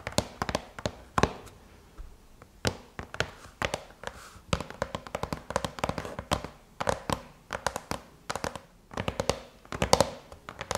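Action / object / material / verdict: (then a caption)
tap / aluminum laptop lid tapped with fingernails / aluminum / none. Long chrome-painted nails tap with curled fingers on the closed silver aluminum lid of a MacBook. The result is a rapid, irregular stream of sharp, dry clicks with a bright metallic edge and a faint tone around 500 Hz, each dying away almost instantly.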